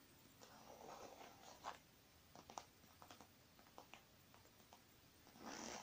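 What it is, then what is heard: Faux leather makeup bag, nail taps. A small, puffy, shiny silver faux leather makeup bag with contents inside rests on one palm while long painted nails zip it, then tap and press its surface. A soft rustling zip comes first, followed by a series of quick, light, crisp taps on the padded surface. The clip ends with a longer, brighter zipping rasp.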